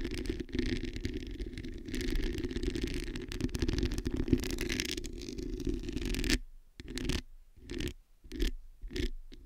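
Long nails scratch across the hollow metal mesh grille of a black microphone. A dense, rumbling scrape with a steady low hum runs continuously for about six seconds. It then breaks into short, separate scratching strokes with silence between them.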